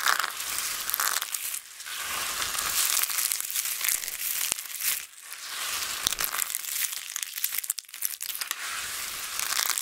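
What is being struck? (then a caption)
Pile of soap chips. Flat hands press and rub a pile of small, thin, solid multicolored dried soap flakes while fingertips pinch and crush pieces. The result is a dense, continuous bright crinkling and crunching with a few brief quieter dips.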